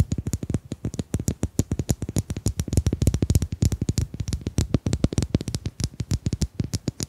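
Domino tiles are tapped in a fast, uneven stream of dozens of short, dry clicks over about seven seconds. Each tap is mostly a low, soft thud with a brief bright edge and almost no ring.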